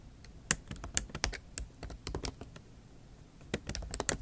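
Long acrylic nail tips type on the plastic keys of a MacBook Pro laptop keyboard set in an aluminium body. Sharp, bright clicks come in an uneven run with a short quiet pause in the middle. Each tap dies away almost at once over a faint low hum.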